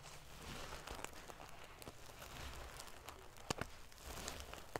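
Fingernails scratch and ruffle the silver metal paillettes covering a sequin pillow. The result is a quiet, dense crinkling rustle over a low rumble, broken by scattered sharp, bright metallic ticks that grow more pronounced toward the end.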